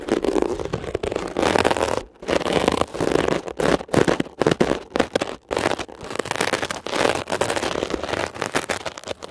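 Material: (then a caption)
Foam, mesh. A metal ear pick scratches quickly and roughly across a blue mesh-covered textured foam scrub sponge. The result is a dense, crackly scraping texture centered in the mids, running in bursts separated by brief near-silent gaps.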